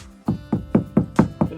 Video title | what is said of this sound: Fix collapsed shelf #diy #fyp #new #handyman | it sounds Hollow over here